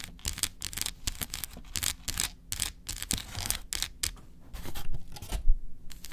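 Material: Chocolate.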